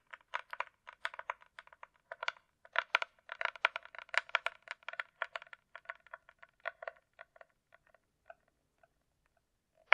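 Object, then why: Hard-shell plastic glasses case. A closed, hollow hard-shell glasses case with a glossy coated shell, likely plastic, is held upright and tapped with long nails. Quick, dry, clicky taps come in irregular flurries, with a hollow mid-pitched tone and bright edges. The tapping thins out and grows sparser toward the end before one sharper tap closes the clip.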